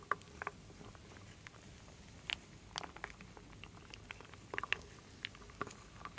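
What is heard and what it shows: A wooden spoon stirs and scoops through a full wooden bowl of solid wooden beads, acorns and leaf pieces. Soft, scattered wooden clicks and light rattles with a bright edge rise over a quiet, steady hiss, each one dying away almost at once.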